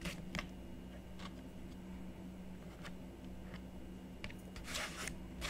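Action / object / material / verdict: scrape / black-coated scratch art card / coated card / none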